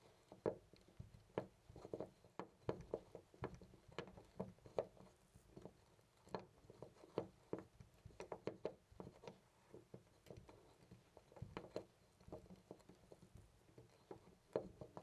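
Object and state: Loose brass door knob.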